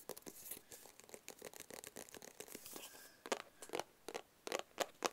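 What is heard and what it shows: A small, closed, hollow black cardboard gift box is tapped and scratched with fingertips and nails. Dense, dry scratching and crinkly rustling give way to a run of sharper, separate taps. The sound is crisp and bright with almost no low end, and each tap dies away quickly.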